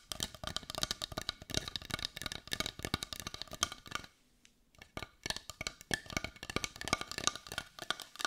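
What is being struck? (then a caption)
Carved wooden heart. A brown carved wooden heart, looking solid and held in the hands, is tapped on its edge and front with long nails. Quick, dry, bright clicks patter in dense runs with almost no ring, then pause briefly around the middle before resuming.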